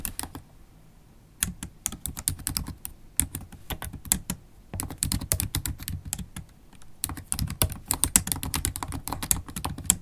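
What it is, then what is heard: Laptop keyboard with plastic keys. Long, pointed black acrylic nails type quickly on the black plastic keys of a MacBook Pro laptop keyboard. Short, bright, clicky taps come in dense bursts, broken by brief pauses. Each click has a low thump underneath and stops almost instantly.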